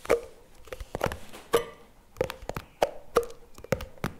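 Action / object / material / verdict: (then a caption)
tap / plastic spread tub / plastic / none. Fingers tap and scratch the lid and rim of a CremaNovi plastic tub lying on its side. Short, dry hollow taps with a resonant tone around 570 Hz are separated by soft scratching between them.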